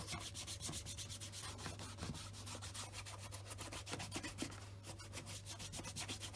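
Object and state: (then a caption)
Leather shoe being rubbed with a cloth. A black leather Scotch Grain wingtip shoe fitted with a wooden shoe tree is wiped and rubbed with a white cloth held over the fingertips. Quick, repeated brushing strokes make a steady, bright swishing texture over a constant low hum.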